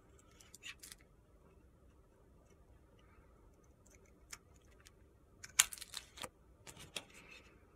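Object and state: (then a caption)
Soap bar being shaved with a blade. A utility-knife blade shaves thin curls off a solid pale pink soap bar held in the hand, making quiet, crisp, high-pitched scraping sounds. The short, sharp scrapes come in scattered bursts, with the loudest cluster near the end.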